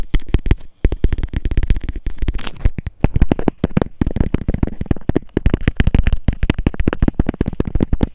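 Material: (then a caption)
Plastic. A small, hollow, transparent hexagonal plastic case with a label is held between the fingers and tapped rapidly with fingernails. The result is a fast, continuous stream of short, dull, hollow clicks, heavy in low end, each dying away almost instantly, with brief pauses near the first and third seconds.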